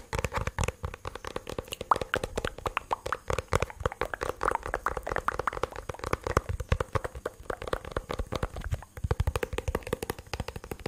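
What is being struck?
Plastic bluetooth speaker casing.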